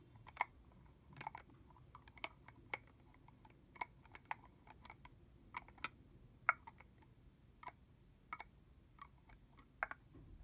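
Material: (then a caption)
Plastic. A medium red translucent plastic body-mist bottle with liquid inside and a hollow red plastic cap on is held in both hands and tapped on the cap and body with long manicured fingernails. About 15 sharp, bright plastic clicks sound at irregular intervals, each dying away almost instantly over a faint low background hum.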